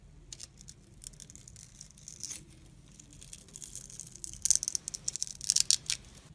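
A blade scores a grid into a palm-sized, solid, clear glycerin soap bar held in the hand, then scrapes off the small cubes. Faint, bright scratching and crisp crackling ticks run throughout, growing louder and denser in the final two seconds.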